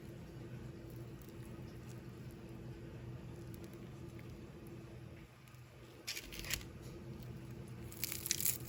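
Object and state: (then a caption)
Crispy fried chicken skin. Golden brown, fully cooked crispy fried chicken skin crackles and crunches in short bright bursts over a steady low hum. The crunches come in two clusters, around six seconds and again near the end, and confirm the skin is crispy.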